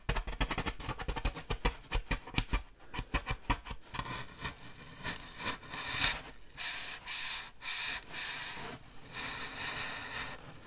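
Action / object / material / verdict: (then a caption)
scrape / styrofoam packing slab / styrofoam / none. Long dark nails tap rapidly across the surface of a large, solid styrofoam packing slab held at an angle, producing crisp, dry clicks for the first four seconds. The nails then scratch along the slab in longer, bright, squeaky scraping swells that rise and fall until the end.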